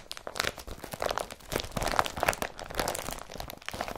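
Fingertips and short nails press, rub and crumple a large blue woven polypropylene IKEA BRATTBY carrier bag with yellow handles, lying empty and folded flat. Dense, dry crinkling and crunching crackles come in rapid, overlapping bursts centered in the midrange with bright edges. The loudest crunches swell near the middle and the texture stays busy throughout.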